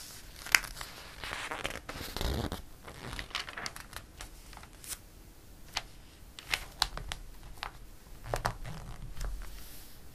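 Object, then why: Glossy paper catalog pages. Fingers rub a page of a glossy paper catalog, lift and flip it over, then a palm smooths it down. Soft, dry rustling and crinkling is broken by sharp, bright paper snaps as the page turns and settles.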